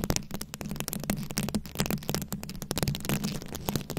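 Very long pointed acrylic nails scratch and tap across a fist-sized, ball-shaped microphone head fully covered in small round plastic rhinestones and beads, held in both hands. The result is a dense, continuous stream of quick, dry clicks and crackles with sharp bright edges. Underneath runs a steady low, boomy rumble.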